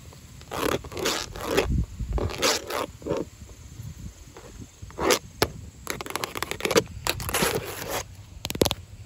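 Long orange acrylic nails scratch and tap across grey textured vinyl house siding, thin plastic panels with a visible seam. Bursts of dry, bright scraping alternate with short, sharp taps that die away almost instantly.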